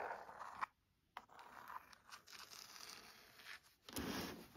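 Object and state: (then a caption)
Leather-bound hardcover book, scratched and tapped. Fingernails scratch the spine edge of a burgundy, embossed leather-bound hardcover book and tap its back cover. The result is dry, broadband scratching and light tapping. It pauses briefly into near silence early on, then continues and ends with a louder burst.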